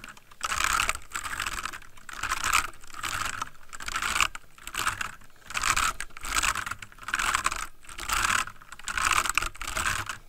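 Both hands type with their fingertips on a full-size backlit plastic mechanical computer keyboard resting on a wooden desk. Rapid key taps come in dense bursts separated by brief pauses. Each click is bright and clacky with a very short, dry decay and a faint low thump beneath.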